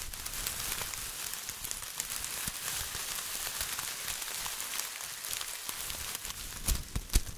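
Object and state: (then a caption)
Metallic plastic tinsel garland. A bunch of silver foil-plastic tinsel garland, held in one hand, is crumpled and crinkled between the fingertips. It gives a steady, bright, dense crackling rustle with a few sharper, louder crinkles near the end.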